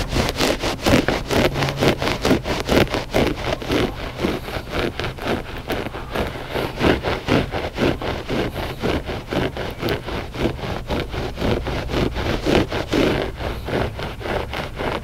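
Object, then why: Loop-pile textile rug. Short fingernails scratch the pile of a flat gray loop-pile textile rug that is solid and soft. They make a steady run of quick, dry rasping strokes, about two per second, each a brief, bright scrape over a soft, low undertone.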